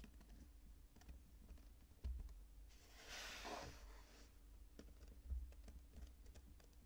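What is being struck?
Kinetic sand.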